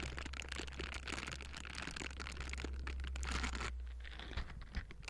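Pink silicone scrubbing-glove bristles scratch the hollow metal mesh grille of a Blue Yeti microphone, with hands working on both sides. A dense, continuous crackling and rasping texture with bright, gritty detail sits over a steady low hum, easing slightly after about 3.7 seconds before a couple of sharper scrapes near the end.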